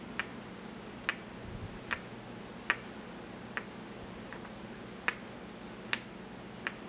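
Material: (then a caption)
Porcelain. A porcelain pestle taps against the inner bowl of a small, empty white porcelain mortar held in the hand, making a slow series of short, bright clicks. Each tap has a crisp, slightly ringing tone that dies away almost at once, heard over a quiet steady background hiss.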